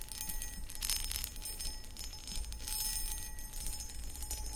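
Long acrylic nails tap and scratch across a medium-sized, empty, hollow clear cut glass footed pedestal bowl. Bright, bell-like glassy rings and a faint steady tone sit over continuous scratchy rasping and a low rumble, with no quiet gaps.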